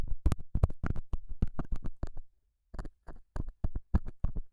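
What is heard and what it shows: A straight, pointed metal scaler tip scratches and pokes the surface of a small, solid, square beige felt pad mounted over a small lavalier mic. It makes a quick, irregular run of dull, muffled thumps and scrapes, heavy in the low end. The taps pause briefly near the middle, then resume in short separate bursts.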